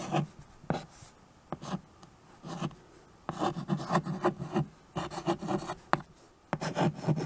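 A white chalk stick writes "Please subscribe for more" across the dark surface of a small framed chalkboard held by hand. Short bursts of scratchy, rubbing strokes come in quick clusters, each with a dull knocking body, separated by brief quiet pauses.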